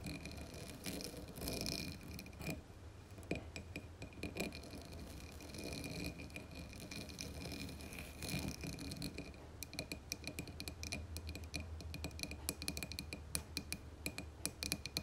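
Long nails tap rapidly on the sides of a dark blue embossed glass candle jar with wax inside. The taps are quick, dry clicks and clinks with almost no ring, coming in dense runs over a steady low hum, and the tapping grows sharper and more spaced out toward the end.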